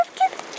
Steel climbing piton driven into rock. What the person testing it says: il faut que le python chante et qui chante bien ça fait bien ça chante